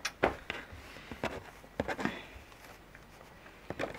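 A plastic dragon figure, held in both hands with its wings spread, has its spiky body scratched and tapped with long, curved natural nails. Sharp, bright plastic clicks come in irregular clusters, separated by a soft, dry scratching rustle. The sound is close and quiet, and each tap dies away almost instantly.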